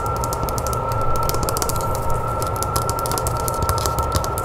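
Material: Painted wood.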